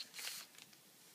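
A blue Sharpie marker's felt tip is rubbed back and forth across a thin, flat sheet of clear plastic film laid over a printed line drawing on a table while coloring. It makes a quiet, bright, squeaky scratching rub that swells briefly and then trails off into a few faint high ticks.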